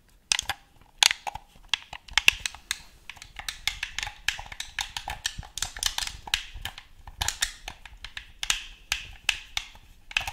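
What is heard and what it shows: A black, hand-sized, hollow plastic gamepad is held in both hands while fingertips and nails tap and click its buttons and scratch across the plastic shell. The result is a quick, irregular stream of sharp, bright clicks and taps with short scratchy rustles between them, each sound dry and stopping almost instantly.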